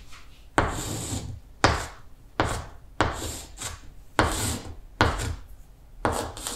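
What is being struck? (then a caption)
Stick of chalk on a wall blackboard. A stick of chalk held in the fingertips is scraped across a large, flat, solid wall-mounted green chalkboard to write Korean letters. Each stroke starts with a sharp scratch, then a bright, gritty rub with a low thump underneath. Short pauses separate the repeated strokes.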